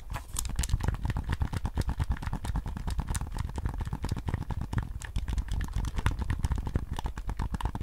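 Fingertips and nails tap and scratch the hollow hard plastic shell and buttons of a white PS5 DualSense controller held in both hands. A steady run of rapid, dry clicks and taps with a heavy low thump runs throughout, each stopping almost instantly with no ring.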